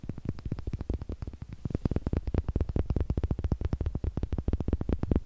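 Long nails tap on two small, solid, light wooden eggs held close to the mic, and the eggs are knocked together. The result is a fast, uneven stream of short, dry knocks with a deep, low-heavy body and almost no ring.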